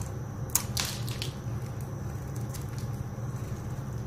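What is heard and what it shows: A blade tool scrapes and carves a dry, solid, rectangular, palm-sized orange soap bar held in one hand with long dark nails, peeling off crunchy shavings. Sharp, bright crunching scrapes cluster in the first second and a half, then fainter scratches follow over a steady low hum.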